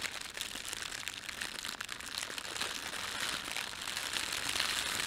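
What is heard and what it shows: Fingertips gather and crumple the film of a thin, empty, red printed plastic bread bag. It makes a continuous, dense crinkling with many fine crackles, concentrated in the bright high range with almost no low end. The crinkling holds steady and grows slightly louder toward the end.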